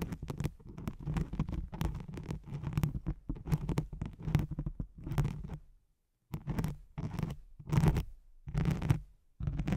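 Long nails scratch with both hands across a thin white hook-side sheet of nylon hook-and-loop velcro laid over a microphone. Dense, rough scratching comes in rapid bursts with a heavy low rumble underneath. There is a brief pause near the middle before the scraping resumes.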